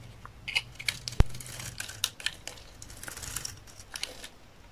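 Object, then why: Bar of soap cut with a knife blade. A utility knife blade shaves and cuts a solid rectangular bar of dry olive-green soap held in the hand, peeling off thick curls. Crisp, dry scraping and crackling strokes come in short bursts with bright, high edges. One sharp snap stands out near the start, over a faint low hum.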